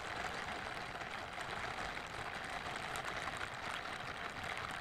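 Pink silicone scrubbing gloves worn on both hands have their smooth backs and bristled palms rubbed together close to the microphone, without touching it. The result is a steady, even rustling hiss concentrated in the mid and bright high range, with little low end and no distinct individual strikes.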